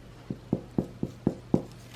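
A freshly baked sourdough loaf, cooled to about 90°F inside, is tapped six times at an even pace, giving short, dull, low thuds. The hollow sound shows the bread is baked through.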